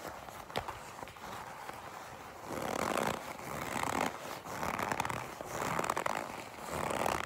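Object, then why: Leather jacket. A folded black leather jacket is squeezed and gripped by fingers with long pink nails. The result is a soft, crinkly rustling that swells into broad midrange creaks and squeaks, with a few sharp clicks scattered through it.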